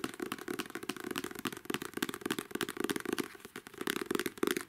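Long manicured nails tap and scratch across the glossy card cover of a paperback novel. Quick, irregular clicks and scrapes with very short decay run throughout, centered around a mid tone near 340 Hz with crisp high scratching texture and almost no low end.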